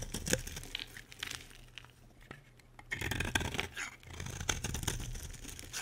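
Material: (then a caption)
Soap. A solid, dry green bar of soap held in the hand is carved with a metal utility blade, giving crisp, bright scraping and cutting crunches with a soft, dry tearing texture. The cuts are busy at first, thin out into a quieter stretch, then return denser and louder toward the end.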